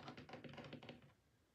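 Long painted fingernails and fingertips tap and drum on the lid of a closed, large, rigid pink cardboard album box (BLACKPINK THE ALBUM) resting on a dark table, hollow with contents inside. About eight quick, dull, hollow taps with a bright clicky edge fall in fast succession like typing. They fade out after about a second.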